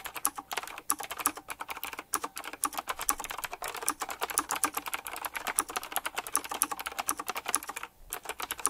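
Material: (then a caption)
Plastic. Fingertips type continuously and fast on the round plastic, metal-rimmed keycaps of a retro typewriter-style mechanical keyboard. The result is a dense stream of short, bright clicks with almost no low end, broken by a brief pause near the end.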